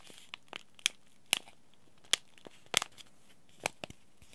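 Fingertips crinkle a small white Yogi Tea Throat Comfort sachet, a paper-foil laminate packet holding a tea bag, and flex its corners. About nine sharp, dry crinkles and crackles stand apart over a near-silent background. The sound is bright and crisp with almost no low end, and each snap dies away instantly.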